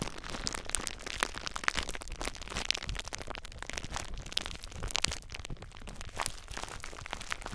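Fingers squeeze and crinkle clear plastic bubble wrap wrapped tightly around a recorder. A continuous dense crackle with frequent sharp, bright snaps and pops runs throughout, with very short, dry transients and some low rumble from handling close to the microphone.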